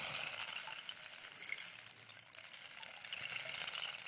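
A long, hollow wooden rain stick is held upright and turned and tilted by hand, sending its fill cascading down inside. The result is a continuous, bright, hissing patter like rushing rain, with a dense scatter of tiny rattling clicks. It dips briefly near the middle and then swells back up.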